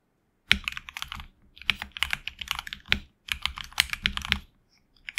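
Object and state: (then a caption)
Mechanical keyboard with plastic keycaps. Fingertips of both hands type on a HyperX Alloy Origins Core tenkeyless mechanical keyboard with HX Red switches, PBT plastic keycaps, an anodized aluminum plate and a hollow case. Quick, bright keystroke clacks arrive in four bursts separated by brief pauses. Each click is short and dry, with little low end.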